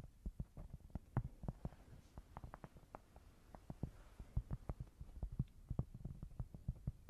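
Long nails tap and scratch across a flat, square cork board that is thin and solid. The result is a quiet, uneven stream of about 33 short, dull taps with deep low thumps that die away almost instantly, over a faint scratchy hiss.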